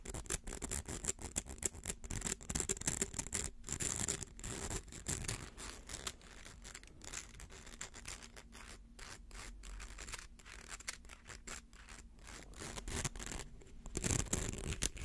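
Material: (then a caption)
Plastic. Fingernails scratch along the ridged outer coils of a small, hollow, rainbow-colored plastic slinky. The result is a dense, continuous run of rapid, dry scratching clicks with a bright high edge and a low rumble underneath. It stays fairly steady throughout, with slightly louder passes near the start and end.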